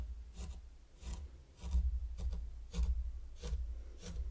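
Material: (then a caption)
Sand. A small wooden rake held at the fingertips scrapes rows of lines into fine pink sand on a large heart-shaped wooden board. About seven short, soft, gritty strokes rasp through the sand at a steady pace over a low rumbling hum.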